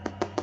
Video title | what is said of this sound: Back to basics, crafting delicious homemade bread from scratch. | if you tap it and you hear that Hollow sound and I think that means that this one is pretty much done